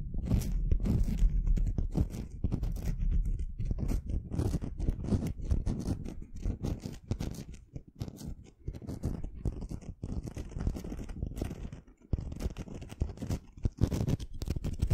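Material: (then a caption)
Stone. A small, solid, jagged rough pink crystal stone is held between both hands and scratched and rubbed with long fingernails. The result is a dense, irregular stream of dry, crunchy scraping strokes, heavy in the low end, with brief quieter dips around 8.5 and 12 seconds.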